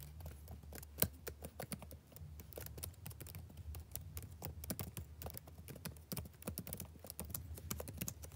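Fingertips type on the keys of a black plastic backlit laptop keyboard, producing a steady run of quick, soft clicks with a low hum underneath. One sharper tap stands out near the start. The clicks are short and dry, with no ring after each keystroke.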